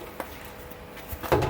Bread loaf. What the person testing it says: quand on tape dessus ça sonne bien il est tout cuit